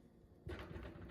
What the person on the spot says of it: sounds Hollow that that's also a sign that it's done